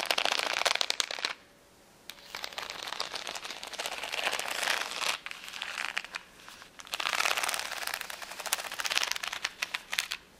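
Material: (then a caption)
Acrylic plastic. Long nails scratch rapidly across the rows of a flat sheet of rainbow acrylic rhinestones on clear backing, resting on a towel. The result is a bright, dense crackling and clicking in bursts, with a brief quiet pause near the start and short dips between passes.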